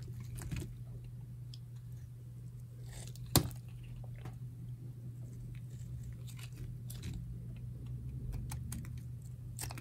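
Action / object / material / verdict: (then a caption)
scrape / bar of soap cut with a metal blade / soap / none. A solid, dry pink bar of soap held in the palm is scraped and carved with a metal utility knife blade. Short dry crunching scrapes and flicks recur over a steady low hum, with one sharp, louder snap near the middle.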